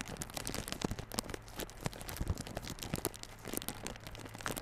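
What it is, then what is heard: Plastic-wrapped cardboard box. A small yellow cardboard box for Realme Buds Classic earphones, sealed in clear plastic wrap, is scratched and tapped by fingertips and nails on the film. Dense crinkly rustling mixes with many short, sharp ticks and taps over a steady low hum, with bright crackle in the highs.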